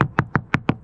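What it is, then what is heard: Solid, dry cored fiberglass deck. The fiberglass cored deck of a C&C 35 sailboat is tapped with the metal part of a hammer: six short, dry knocks with a low, solid thud and almost no ring. The deck sounds solid and good here, and a moisture meter reads it as basically dry.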